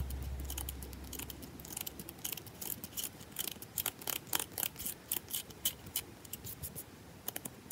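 Long nails scratch fast across a rectangular, solid bar of soap held in the hand, its surface carved and scratched. Quick, crisp, bright scrapes come in an irregular, rapid stream over a faint low hum that fades after the first second.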